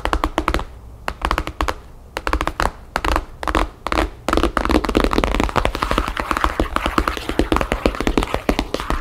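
Long painted fingernails tap rapidly on the cover of a thick, map-printed, paper-covered hardcover album resting solidly on a table. The taps are short, dry and clicky over a dull low thud, with no ring. They come in quick bursts separated by brief pauses, then run as a continuous flurry from about four seconds to the end.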